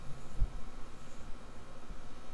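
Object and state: Nothing is struck.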